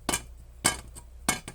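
Four sharp taps on a new replacement camera body shell for a Blackmagic Pocket 6K, made of polycarbonate with 15% carbon fiber. Each tap gives a bright, metallic click with a very short ring, sounding like aluminum and showing how stiff the material is.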